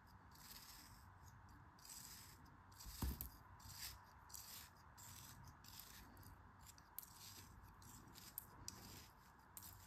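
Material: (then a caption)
Kinetic sand. A thin metal blade slices and scrapes repeated grooves into a palm-sized, solid, pink molded kinetic sand shape held in the hand. Quiet, gritty scraping strokes repeat steadily over a low rumble, with a heavier soft thud near the three-second mark and a few sharp little ticks toward the end.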